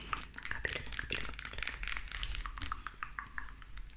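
Long nails tap and click quickly on a slim, small, hollow pink plastic lip gloss tube with a metallic cap. The result is a fast, dense run of sharp, bright clicks that stop instantly, over a faint low hum.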